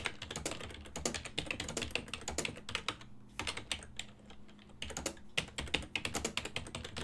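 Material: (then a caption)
Plastic. Fingertips with painted nails type rapidly on a full-size black and silver ergonomic plastic desktop keyboard, its keys set over a hollow body, resting on a wooden desk. Bright, clicky keystrokes come in quick, dense runs with short lulls, over a faint low hum.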